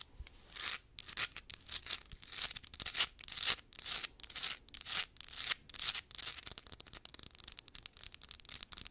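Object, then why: Rough mineral rock. Long acrylic nails scratch and rub quickly over a solid, palm-sized rough crystal geode rock. The result is a quiet run of dry, bright, hissy scraping bursts at a fast, uneven pace, with almost no low end. Toward the end the strokes become shorter, denser, ticking scratches.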